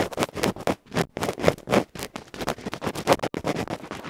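A bamboo ear pick rapidly scratches the dark felt front of a small, uncovered cylindrical metal electret microphone capsule held in the fingertips. Because the pick works directly on the microphone itself, it sounds very close and loud: a fast, irregular run of harsh, rustling scrapes and scratchy bursts with short gaps between them.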